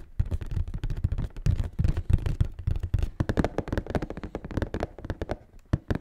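A large, hollow, closed black cardboard Nike shoebox is held level while fingertips and nails rapidly tap and scratch the top of its lid. The result is a dense run of dull, low, hollow thunks with crisp clicks layered over them, and each hit stops almost instantly.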